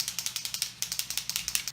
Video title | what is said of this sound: Nov 2017 BoxyCharm Unboxing // The Vanity Mirror | you can hear there's something in there that helps shake it up